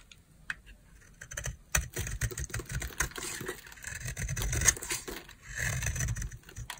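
A utility knife blade scrapes a solid, palm-size oval bar of dry green soap held in the hand. It makes a steady run of crisp, bright scratching and crackling strokes over a soft low rumble, with a few sharper snaps standing out.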